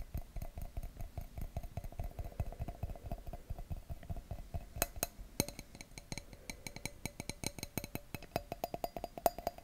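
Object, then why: Thin glass wine glass. Fingertips and nails rapidly tap and scratch the bowl of an empty, thin, clear wine glass near its logo. Dense, short, dull knocks with heavy low thumps carry a faint glassy ping around 690 Hz. The taps grow sharper and brighter in the second half, each dying away almost instantly.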